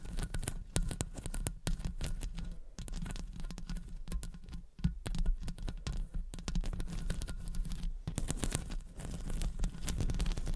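Long acrylic nails scratch and tap the hollow metal wire-mesh grille of a condenser microphone with both hands. The result is a dense, continuous run of deep, boomy thumps and rustling, crackly scrapes with short, dry clicks on top.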